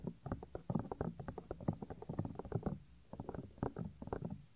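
Fingertips rub and squeeze the small, solid white soft silicone ear of a 3Dio binaural microphone. This makes a dense run of close, muffled, low rubbing and squishing bursts with no ring, pausing briefly before resuming.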